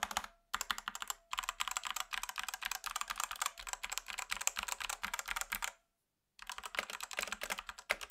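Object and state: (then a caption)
Plastic mechanical keyboard. Fingertips type on the plastic keycaps of a black Rexus Daiva south-facing 65% 68-key mechanical keyboard with a plastic case, resting on a grey desk. Rapid bursts of short, bright clicky clacks come in quick runs, with a few brief pauses. The longest gap falls near the end before the typing resumes.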